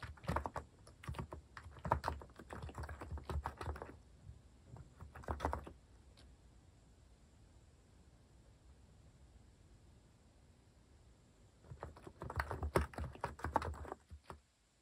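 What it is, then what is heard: Plastic mechanical keyboard being typed on. Rapid fingertip typing on a compact white-case mechanical keyboard with cream and orange cat-themed plastic keycaps, resting on a wooden desk. Dense bursts of short, deep-toned clacky key taps fill the first four seconds, with another brief flurry around five seconds. A quiet stretch of faint background hiss follows before fast typing resumes near the end.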